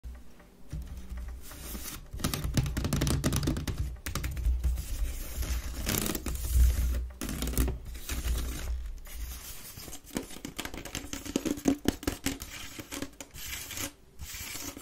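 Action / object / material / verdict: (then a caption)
scrape / woven wicker waste-paper basket / wicker / none. Long red-painted nails scratch fast across the woven sides of a medium-sized, hollow, empty grey wicker waste-paper basket as the bin tilts. The result is dense, crackly, rapid scratching with a heavy low rumble, broken by brief pauses.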